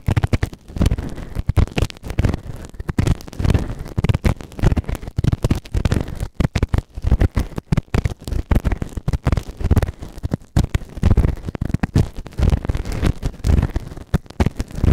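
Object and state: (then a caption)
Silicone ear microphone being scraped. A white plastic ear tool held in fingertips scrapes inside the ear canal of a grey, soft but solid silicone ear-shaped microphone on a round base. The close scratching comes through as dense, muffled, low rumbling crackles and thumps, with rapid bursts and very little high end.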